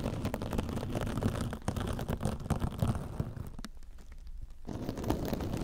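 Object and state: Metal scouring sponge being scratched.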